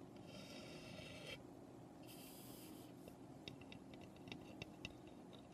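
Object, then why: Unfinished pine birdhouse scratched with fingernails. Long nails scratch along the roof edges of a small, hollow birdhouse made of light, unfinished pine. Two sustained, bright, hissing scrapes are followed by a run of short, dry ticks and taps. The sound is quiet and close, with almost no ring after each touch.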